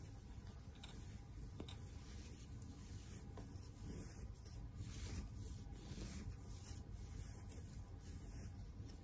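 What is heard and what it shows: A large, soft, stuffed, pink, shaggy faux fur heart-shaped pillow is rubbed with the palm and fingertips, with some scratching from long nails. The result is a quiet, steady, low, rumbling rustle that runs throughout, with a few faint brighter scratchy ticks on top.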